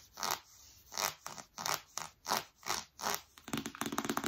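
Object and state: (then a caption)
Cardboard box scratched with nails. Long nails scratch and scrape the glossy printed front of a large, flat, rigid cardboard iPad Pro box held upright. A series of slow, sweeping, zipper-like scrapes gives way to a quick burst of fine, bright scratching at the end.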